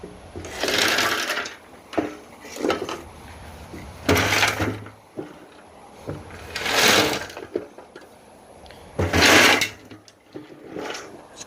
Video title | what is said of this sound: Holy F#$$.....look at what came out of this tank. Other mechanic said it just needed a coil.....WTF? | you can hear that gravel sloshing around in there